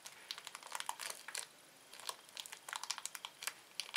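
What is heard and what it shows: A small, thin, empty red-orange printed plastic Anta Flu candy wrapper is held and crinkled between the manicured fingertips and nails of both hands. It makes quick, bright, crackling bursts of crinkle with no low-end body, broken by a short quiet gap in the middle.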